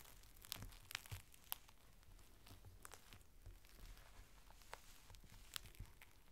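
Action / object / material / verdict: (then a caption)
scrape / thin clear plastic rain cover / plastic / none. A long, thin strip of a clear plastic rain cover is folded into a small packet while fingers press the folds and crinkle them. Quiet, steady rustling is broken by sharp, bright crackles and crisp snaps that die away almost instantly, over a faint low rumble.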